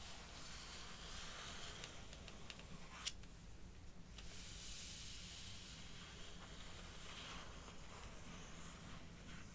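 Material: Cardboard.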